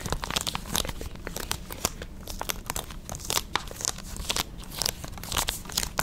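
A small hollow plastic PS5 game case for God of War Ragnarok is held in both hands near the microphone and quickly gripped, rubbed and scratched with long red nails. The result is a dense, bright run of crackling, crinkly scrapes and sharp clicky taps over a faint low rumble.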